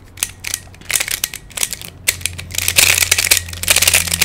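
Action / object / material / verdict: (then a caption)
scrape / plastic pyramid twisty puzzle / plastic / none. Fingertips turn the layers of a hand-sized black plastic Pyraminx, a pyramid-shaped twisty puzzle with coloured stickers and a hollow mechanism. It makes a run of quick, bright, ratchet-like plastic clicks that grow denser and louder toward the end. Each click dies away almost at once over a faint steady low hum.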